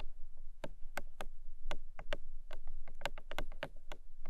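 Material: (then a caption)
Paperboard. Long nails tap quickly on the top face of a long, narrow, hollow pink paperboard box. Crisp, light, hollow clicks come in an uneven rapid pattern and die away almost at once. A low, steady hum runs underneath.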